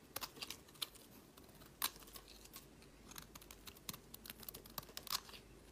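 A snap-off metal utility blade carves a solid cream bar of soap, peeling long curls off onto a woven mat. Quiet, bright scraping and crisp little clicks come in quick, uneven bursts, with a few sharper cuts standing out. Each sound dies away almost instantly.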